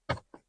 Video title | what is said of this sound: Bongkar Rahasia Kehematan Toyota Yaris Cross | ada plastiknya kurang Solid rasanya